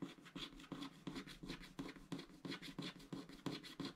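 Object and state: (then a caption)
Scratch art card being scraped. A wooden stylus held in the fingers scratches the black wax coating off a small shape on a flat scratch art sticker sheet of thin card lying on a grey mat, while the other hand holds the sheet still. The scratching is continuous, in quick, fairly steady back-and-forth strokes, each a short, dry rasp with a low-mid body near 270 Hz and a bright, gritty edge.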